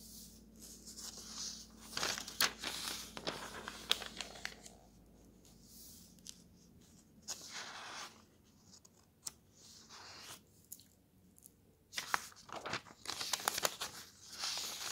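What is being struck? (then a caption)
Paper road atlas pages. Fingertips quickly flip the thin paper pages of an open road atlas, sliding each page between the fingers. Bright, crisp rustling swishes come in bursts with sharp papery snaps, separated by quiet pauses.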